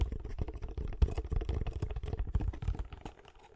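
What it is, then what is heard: Cardboard box. Fingertips and nails tap the sides of a small, hollow, closed kraft cardboard box held near the microphone. A quick run of short, dull, hollow taps sits mostly in the low range with almost no bright content, and each tap dies away almost instantly. The tapping grows quieter near the end.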